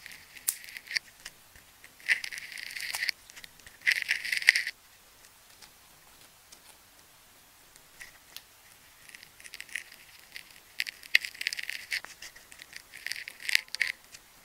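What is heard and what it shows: A craft knife blade scores and cuts slits into the gold-painted outer shell of a hand-sized solid ball of wound adhesive tape held in one hand, exposing colored tape layers underneath. Dry, bright scraping and slicing comes in bursts, with longer rasping cuts around two and four seconds and a busier run of short scratches near the end. Quiet pauses fall between the cuts.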